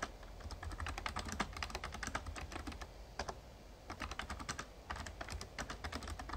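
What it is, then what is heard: Plastic membrane keyboard being typed on. Fingertips type steadily on a full-size, backlit plastic Razer Ornata Chroma mecha-membrane gaming keyboard. The result is a rapid run of soft, clicky key taps, each with a dull low thump beneath a bright click. The typing briefly slows into short pauses midway before resuming.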